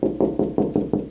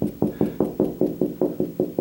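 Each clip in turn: First: Seven quick knocks on drywall, each a dull, boomy thud around 300 Hz that dies almost at once: hollow, no stud. Second: Eleven quick, evenly spaced knocks on drywall, short and dull, landing on the solid spot over a stud.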